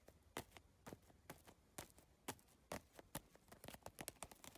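Long nails and fingertips tap rapidly across a holographic geometric PVC tile bag, an iridescent plastic bag with triangular tiles. The result is a quick, uneven run of short, dry, bright clicks with almost no ring, some louder than others, over a quiet background.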